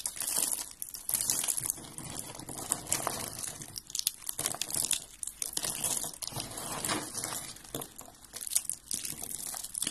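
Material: Soap.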